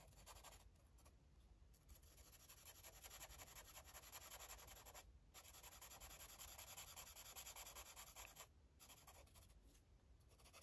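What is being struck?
Paper colouring book page rubbed with a marker.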